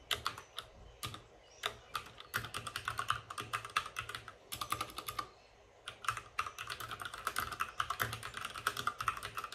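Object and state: Plastic mechanical keyboard.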